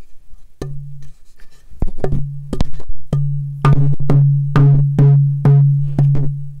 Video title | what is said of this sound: Royal Blackwood The most important product in luthiery right now? | just to give it a tap test. That sounds good.